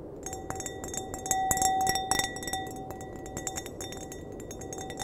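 A clear, empty glass wine glass is tapped with fingernails in a quick, uneven run of light clinks. Each tap rings out in a bright, bell-like tone with a steady ringing pitch near 750 Hz. Many brief, high overtones sit above it over a faint background hiss.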